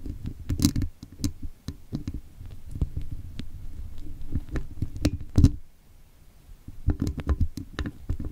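Thin metal tweezers pick and scratch at the woven metal wire mesh grille of a hollow microphone head, with a towel resting below. The result is a close, muffled run of low, dull scrapes and soft knocks, dotted with brief bright ticks. A quiet pause falls near the end before the picking resumes.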